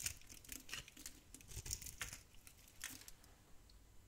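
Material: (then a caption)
Soap. A metal blade scrapes and shaves crumbly flakes off a very old, solid tan dry soap bar held in the hand. The sound is a quiet series of short, bright, crisp scraping and crumbling bursts with brief gaps between strokes and almost no ring after each one.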